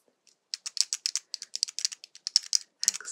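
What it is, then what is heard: Plastic keycap keychain. Long nails and fingertips tap and press on a keychain made of a small vertical stack of four hollow pastel plastic keyboard keycaps held in both hands. About eighteen quick, dry, bright clicks come in an uneven rhythm with almost no ring. The clip ends in a brief, denser clattering burst.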